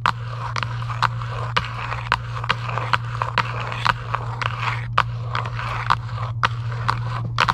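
Long acrylic nails tap and scratch across the surface of a flat, printed cardboard UNO card box lying on a table. Many short, dry, crisp taps with a papery brightness ring out between soft scratching. A steady low hum runs underneath throughout.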